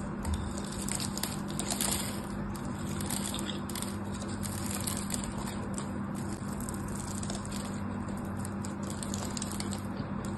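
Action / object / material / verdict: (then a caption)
scrape / bar of soap cut with a small blade / soap / none. A small metal blade cuts small cubes off a solid pink bar of soap with a crosshatched surface, held in the hand, and the cubes crumble away. Dense, crisp crackling and scraping ticks run steadily throughout, with bright edges over a constant low hum.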